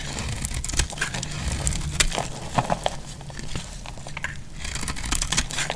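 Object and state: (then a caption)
Dry soap bar being shaved. A utility knife blade shaves thin flakes from the face of a solid, dry green soap bar held in hand. Crisp, crinkly scraping strokes with bright, short crackles repeat throughout over a steady low hum.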